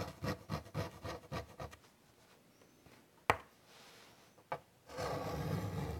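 White chalk makes a quick series of short, scratchy strokes on a large wood-framed chalkboard, followed by a quiet pause broken by two sharp, brief taps. A steadier, continuous scratching then runs to the end.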